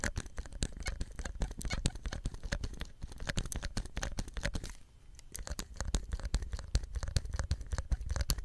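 A small, hollow green plastic soap dispenser pump head with a ridged cap and white tube is held close and scratched and tapped with fingertips and nails. Rapid, dense clicks and scratchy taps sound over a low, dull thump, with a brief quieter pause just before the five-second mark. The tapping then resumes just as busily.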